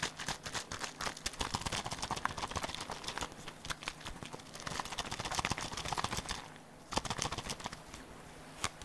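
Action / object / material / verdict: tap / small plastic bottle with a nozzle cap / plastic / none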